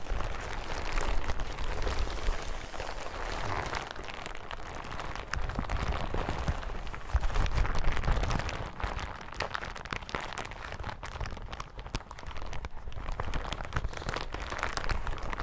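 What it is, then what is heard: Crinkled plastic hazmat suit. A bunched yellow plastic hazmat suit on a table is crinkled and scratched with fingertips. The result is a steady, irregular crackling and rustling with a low rumble underneath. Louder bursts come around the seventh to eighth second, and the sound eases off a little toward the end.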